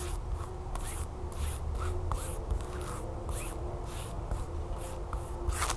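Long fingernails tap and scratch the crinkly surface and edges of a flat yellow plastic tablecover still in its plastic packaging on a table. Bright, brisk bursts of crinkling and scratching recur over a steady low background hum.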